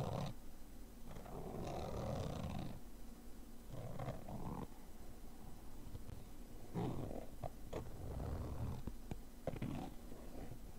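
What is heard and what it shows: A thin, pointed metal tool scratches and scrapes the fabric top of a small, hollow, black padded nylon zip case. The result is bursts of low, rumbling, rasping friction with a muffled, hollow body and a tone around 500 Hz, broken by brief sharp ticks. The scraping continues in uneven waves.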